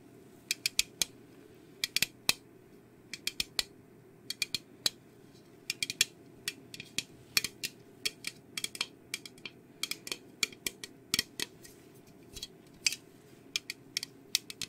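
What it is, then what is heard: Aluminium soda can. An orange aluminium Fanta can, likely full and unopened, is held in both hands and tapped and scratched with long painted nails. Quick, sharp, bright clicks and ticks come in uneven bursts and die away almost instantly. A quiet, steady low hum runs underneath throughout.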